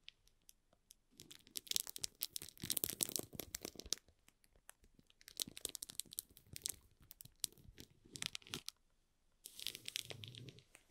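A small, hollow cardboard box in plastic shrink wrap is rubbed quickly and scratched along its sides by fingers. The result is bright, dry crinkling and scratching in several bursts, with short quiet gaps between them.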